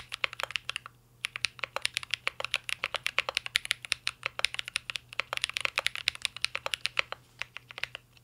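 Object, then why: Mechanical keyboard, metal case with plastic keycaps. Fingertips of both hands type continuously on a mint green Cyberboard R3 mechanical keyboard with a metal case and plastic keycaps. Rapid, bright, short clacks follow one another, centred around 2.3 kHz, with a brief pause near the one-second mark before the typing resumes.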